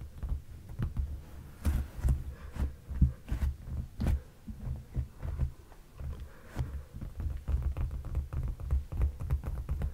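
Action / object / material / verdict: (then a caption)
tap / padded leather sofa cushion / leather / none. Fingertips and short nails tap and scratch on a dark padded leather sofa cushion. The taps land as soft, deep thumps with almost no ring, broken by brief brighter scratching rasps over a low, steady hum.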